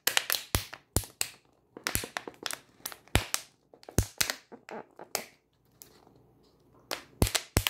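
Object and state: Plastic water bottle tapped and crunched.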